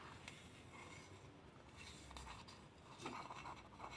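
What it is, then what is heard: Lacquered wooden bowl. A large, empty Khokhloma wooden bowl with a glossy gold-lacquered interior is scratched and rubbed inside with long nails and fingertips while a pearl bracelet sits on the wrist. Soft, dry scraping and scratching textures come through quietly over a low background, turning a little louder and brighter toward the end with a few faint clicks.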